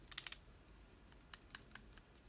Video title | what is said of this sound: KWC Desert Eagle vs. WE Tech Desert Eagle! Hand Cannons! | hear how there's no noise, pretty much nothing